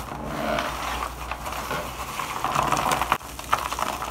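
Nitrile-gloved hands rub, crush and sprinkle a pile of dry white shaved bar soap shavings in a black plastic bowl. A steady, crisp crackling rustle fills the clip, centered in the midrange with bright edges. Sharper crunches stand out toward the end, with a brief dip in sound just past the three-second mark.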